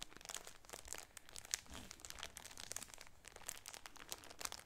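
A cream shower curtain in a clear plastic bag is squeezed and crinkled with the nails of both hands. Soft, bright plastic crackles and rustles come in a steady, dense run of short crisp pops with little low end, staying quiet throughout.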